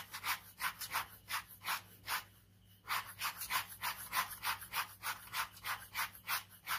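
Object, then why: Ballpoint pen scratching a paper sketchbook page. A ballpoint pen scratches rapid cross-hatching on a white paper sheet of a sketchbook resting on fabric. About 17 quick, bright, raspy strokes are heard at a brisk, uneven rhythm, with a brief pause in the middle before the scratching resumes.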